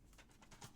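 A plastic DVD case with an inner disc tray is shaken, and the loose tray tab rattles inside with a few quick, soft, bright clicks over a low background. The rattle marks it as a double-disc case.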